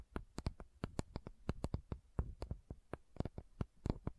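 Long nails tap and scratch the plastic body of a small pink plastic sunscreen bottle with a gold band, held sideways. Twenty-two quick, dry, quiet taps with a dull low thud and a bright click sound in an uneven rhythm, each dying almost instantly. Soft scratching fills the gaps between them.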